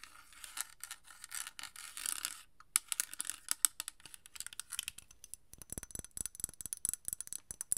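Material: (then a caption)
Glass. Long nails tap a small, partly filled amber glass perfume bottle, which is then lifted up. Dozens of quick, bright clicking taps and faint scratchy rubs sound close and quiet, each dying away almost instantly. Toward the end the taps come faster and gain a slightly fuller body.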